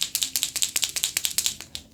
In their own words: You hear that click? That's also because it's an acrylic marker. That's that ball inside that's shaking mixing the paint up.